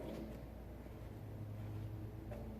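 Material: Nothing is struck.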